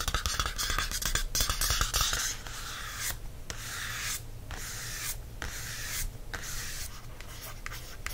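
Fingertips and nails scratch and tap the cardstock cover of a thin paperback notebook, printed to look like a library date-due card and held in one hand. Quick, dense taps and scratches open the clip, then give way to longer, bright, dry scraping strokes separated by short pauses. A steady low hum runs underneath throughout.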